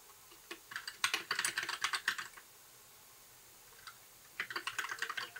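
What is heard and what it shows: Fingertips of both hands type on a compact white mechanical keyboard with backlit plastic keycaps. A quick run of bright, crisp clacks is followed by a quiet pause with a single tap, then another burst of typing. Each keystroke is short and dry with almost no ring.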